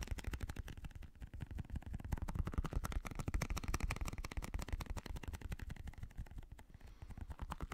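A fingertip and nail rapidly tap a small translucent blue squishy stress ball, likely a rubber skin filled with gel beads, held in one hand. The result is a quick, uneven stream of soft, dull, low thuds with very short decay and almost no bright content, steady in level throughout.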